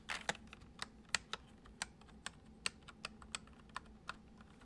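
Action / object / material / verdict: tap / plastic computer keyboard / plastic / none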